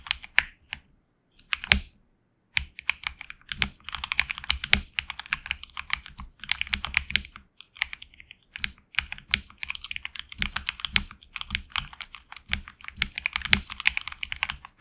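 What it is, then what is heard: Mechanical keyboard with PBT keycaps. A HyperX Alloy Origins Core tenkeyless mechanical keyboard with HX Red switches and grey and red PBT keycaps sits on a deskmat and is typed on with the fingertips of both hands. Fast bursts of short, bright, crisp key clacks with a light low thock underneath come in runs, with brief pauses near the start and in the middle.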